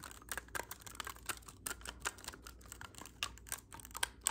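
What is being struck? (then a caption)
Clarinet with metal keys. Fingertips tap the silver metal keys of a hollow black clarinet held horizontally up close. A rapid, uneven series of quiet, dry clicks sounds with a bright, crisp edge and almost no ring, over a faint low hum.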